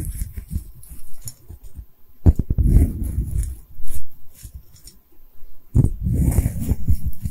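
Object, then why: Porcelain bottle. Long red-painted nails tap and scratch on a medium-sized, hollow, cream-colored porcelain bottle with a textured surface. The sound is deep, muffled thumping and rubbing with almost no high content, coming in dense bursts separated by brief near-silent pauses.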